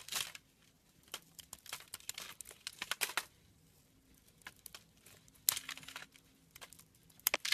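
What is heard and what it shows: A small blade scrapes flakes from the edge of a solid brown branded bar of soap held in the hand. The result is quiet, bright, dry crackling and crinkling scrapes in short, uneven bursts, with louder strokes near the start, middle and end.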